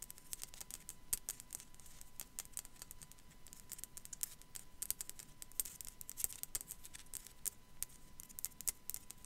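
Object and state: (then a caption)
Ceramic skull figurine tapped with nails. Long black nails tap and scratch the top of a small, hollow, white matte ceramic sugar skull figurine. Quiet, rapid, irregular clicks with bright, crisp edges land over a faint scratching hiss and a steady low rumble, and each tap dies away almost instantly.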